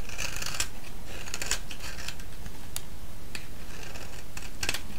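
A thinned, solid yellow soap bar held in the hand is shaved with a metal blade. Crisp, bright scraping strokes come in short bursts over a steady low rumble.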